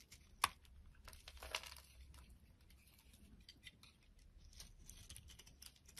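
A utility knife blade scrapes and shaves a palm-sized solid pink soap bar held in the hand, with crumbled flakes falling off. Quiet, dry, bright scraping and crinkly crumbling run throughout, with two sharper clicks early on before the sound settles into soft, irregular shaving.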